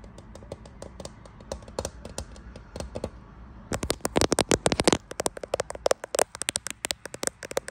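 Fingernails tap quickly on the glass back of a grey iPhone Pro-style smartphone with a metal frame, possibly in a thin clear case, near the camera bump while it is held up to a mirror. About 39 short, dry, bright clicks come in an uneven rhythm, soft for the first few seconds and then sharply louder in rapid bursts.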